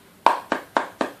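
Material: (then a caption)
Metal. Five sharp taps on the metal lid of a Copenhagen wintergreen tobacco can, evenly spaced, each a bright click with a ringing tone near 900 Hz that fades quickly. The lid sounds like metal.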